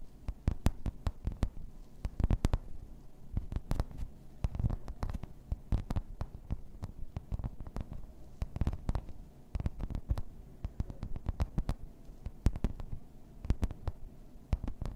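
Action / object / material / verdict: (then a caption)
tap / thin plastic placemat with raised embossed pattern / plastic / none. Long red nails tap and scratch over the raised floral embossing of a thin, solid, flat grey plastic placemat. A steady, irregular stream of quick, dry taps, each with a brief bright click on top of a dull, low thud, mixes with soft scraping between them. Each tap dies away almost instantly.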